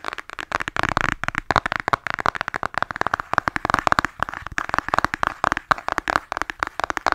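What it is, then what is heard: Cardboard eyeshadow palette. Long nails tap fast on a flat, hollow cardboard eyeshadow palette held in both hands. Dense runs of short, dry clicks with a hollow midrange tone around 1.2 kHz come in quick bursts and decay almost instantly.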